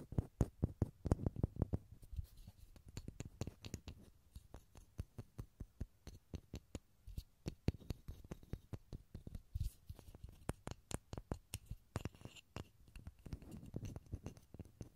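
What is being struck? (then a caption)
Small pine wood block. A small solid pine wood block, held over a stereo recorder, is scratched and tapped with fingernails and fingertips. Quiet, dull, low-heavy taps die away almost instantly, coming in a dense flurry at first and then in a steady string of separate knocks with faint scratching between them.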